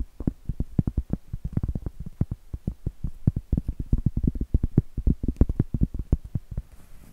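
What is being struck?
Round cork trivet.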